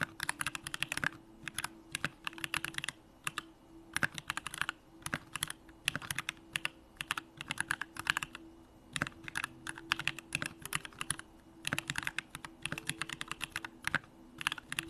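Fingertips type continuously on a Bakeneko65, a 65% mechanical keyboard with a hollow aluminum case, Durock lavender switches and pink plastic keycaps. Quick bursts of sharp, bright clacks with almost no ring come in uneven runs with short pauses between, over a faint steady low hum.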